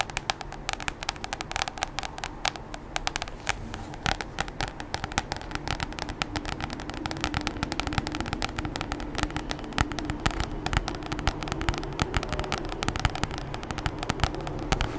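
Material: Plastic.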